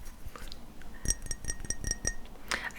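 Fingernails tap a glass bottle of fig perfume in a quick, even series of light clinks, each a bright, high ping that dies away almost at once. Softer clicks and handling noise surround the taps, ending in a brief rustle.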